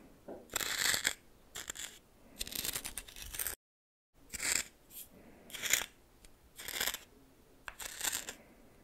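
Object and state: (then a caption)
Coarse salt stirred in a small bowl. A red plastic spoon stirs coarse salt in a small bowl, making bursts of bright, gritty crunching and scraping separated by quiet pauses. The sound is mostly high-pitched and dry, with almost no low end, and a brief full silence falls midway through.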